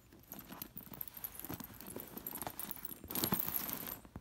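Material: Metal sequins.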